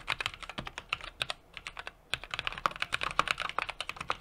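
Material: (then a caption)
Plastic, metal. A small 60% mechanical keyboard with an aluminum case, brass plate and plastic keycaps is typed on rapidly with the fingertips of both hands. About thirty short, bright clacking key taps are heard, with a brief pause near the middle before the typing picks up again. Each tap is crisp and dies away almost instantly, with very little low end.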